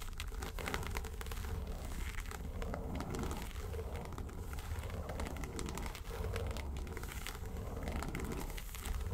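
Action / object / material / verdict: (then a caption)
scrape / small faux-leather makeup case / faux leather / none. Long nails scratch steadily across the lid of a small, hollow yellow makeup suitcase made of textured faux leather. The result is a continuous, dense crackling scrape with a deep, hollow low-end rumble and faint, brief bright ticks throughout.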